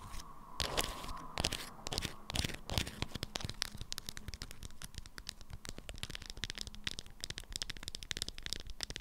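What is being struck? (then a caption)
Beeswax-coated fabric wrap around a small item. Long acrylic nails scratch and tap a stiff, lemon-print beeswax cloth wrapped around a small item. Crinkly, crackling scrapes come first in broad rustling bursts, then give way to a dense run of quick, bright taps and scratches. Each one cuts off dry and close with almost no ring.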